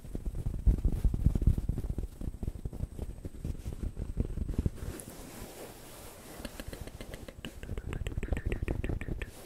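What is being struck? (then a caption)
Fabric-covered stuffed pillow. Fingertips and nails scratch and rub the surface of a soft beige fabric pillowcase on a stuffed pillow held in front of the mics. The result is a dense stream of quick, soft, low-heavy scratches and thumps with almost no ring. The activity eases to a quieter rustle near the middle, then resumes with brighter, crisper scratching.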